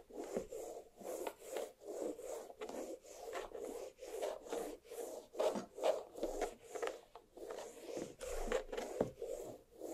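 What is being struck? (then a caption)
Watermelon half, rind. Long black nails scratch down the rind of a large, solid watermelon half resting on a plate. About fifteen dry, raspy strokes come in an uneven rhythm, each a short, mid-pitched scrape with a faint bright hiss on top that cuts off quickly.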